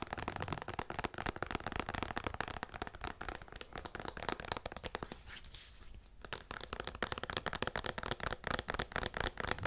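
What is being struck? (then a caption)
Plastic pump bottle. A medium-size white plastic pump bottle of hand lotion with a yellow label, which appears full, is held in both hands and tapped and scratched on its sides with fingertips and nails. The result is a dense stream of quick, dry, crackling taps and scratches. Around the middle it eases into a softer, steadier scratching hiss before the brisk tapping returns.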